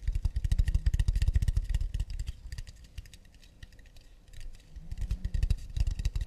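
Long nails tap rapidly on the flat underside of a round, hollow acacia wooden plate, held empty and upside down. Quick hollow knocks with a deep, thumpy body and bright clicky nail ticks come in a dense, uneven patter. The tapping fades to a softer, sparser stretch in the middle, then builds back to full strength.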